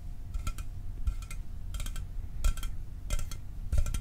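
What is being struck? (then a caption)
Aluminum soda can. A sealed, hollow 12 oz Mountain Dew aluminum soda can, held in one hand, is tapped with fingernails and fingertips. Six quick clusters of light, bright metallic clicks and clinks each ring very briefly over a low background rumble.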